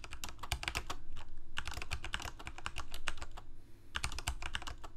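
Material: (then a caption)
Plastic. Fingertips of both hands type steadily on a Corsair K68 full-size mechanical keyboard with plastic keycaps, Cherry MX Red switches and a backlight, resting on a desk. Rapid, overlapping keystrokes give bright plastic clacks over deep bottoming-out thuds, each dying away quickly. The flurry eases briefly near the end before resuming.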